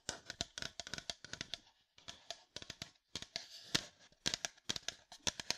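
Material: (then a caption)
Plastic. Fingertips tap and scratch on a hollow, apparently empty red plastic sports water bottle with a black cap. The result is a rapid run of crisp, bright clicks with scratchy rustling in between, clustered in quick bursts with brief pauses. Each tap dies away almost instantly and carries very little low end.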